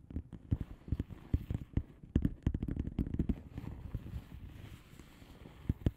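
Long manicured nails of both hands tap and scratch a flat blue plastic bubble wrap mailer envelope with air-filled bubbles. A quick, irregular series of soft, dull thuds follows, each dying away almost at once, with a faint low rustle between the taps.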